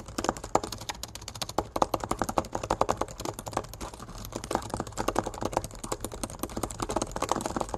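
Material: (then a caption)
Plastic. Fingertips type and tap fast across the backlit black plastic keys of a laptop keyboard set in an aluminum body. A dense, rapid stream of short, dry clicks is heard, with brighter, louder bursts in places over a faint steady low hum. Each tap dies away almost instantly, with no ring.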